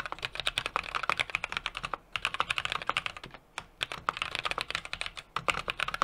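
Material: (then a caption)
Metal, plastic. A small 60% mechanical keyboard with an aluminum case, brass plate and plastic keycaps is typed on rapidly with the fingertips of both hands. About 37 short, sharp, bright clacks come in quick bursts with little low end, and brief pauses fall around the two- and three-and-a-half-second marks.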